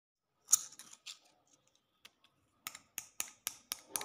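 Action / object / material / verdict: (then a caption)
tap / concrete floor tapped with a metal knife blade / concrete / none. The metal blade of a green-handled utility knife, held in the hand, scratches and taps the rough, stained surface of a large, solid outdoor concrete floor. A few gritty scrapes come first, then a quicker run of sharp taps. Each sound is thin and bright, with almost no low end, and stops almost at once.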